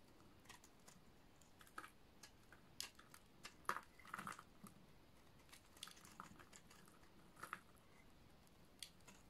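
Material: Soap.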